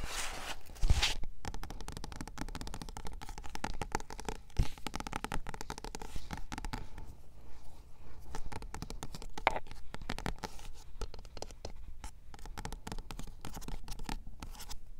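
Long dark-painted fingernails tap and scratch across the solid, glossy card front cover of a paperback book, "Working With You Is Killing Me," standing on a shelf. The result is a dense, continuous run of quick, dry scratches and soft taps that stop short with no ring, with a few sharper clicks standing out.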